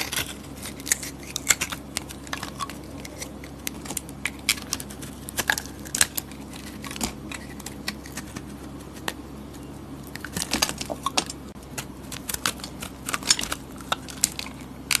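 A metal blade scrapes a solid soap bar, mostly white with purple glitter edges, peeling off shavings. Quick, bright, crisp scraping strokes and soft crackles come in irregular bursts over a faint, steady low hum.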